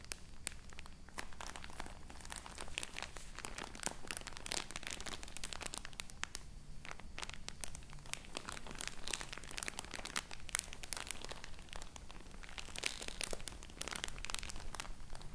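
A full roll of cotton wool in crinkly plastic wrap is held in both hands while fingertips and long nails squeeze and scratch the packaging. Dense, bright crinkling and scratching rustle continuously with many quick snaps over a steady low hum.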